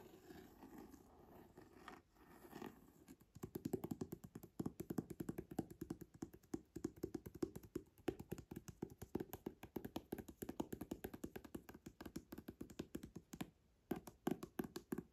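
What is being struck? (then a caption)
Leather-covered hardcover book. Fingertips and nails tap and scratch the front cover of an old, solid, leather-bound antique hardcover book with an embossed leather cover and gold lettering, lying flat. Soft, brushy scratching for the first few seconds gives way to rapid, steady runs of short, dull taps with a low-mid hollow body and almost no ring, broken by a few brief pauses.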